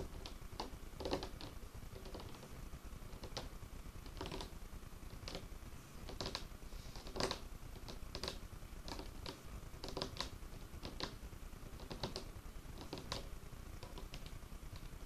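Fingertips and nails from one or both hands tap and scratch a large, solid, dark-stained wooden tabletop. Irregular, sharp, bright taps and clicks sit over a low, soft rustle of scratching. Each tap dies away quickly with almost no ring.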